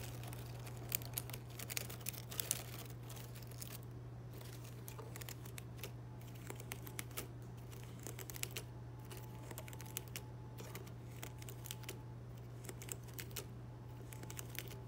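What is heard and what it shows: Fingertips and nails pinch, flick and rub the small, thin green plastic leaves on thin plastic stems of a fake boxwood plant. It makes quiet, crisp crinkling and rustling with many short bright ticks and snaps over a steady low hum.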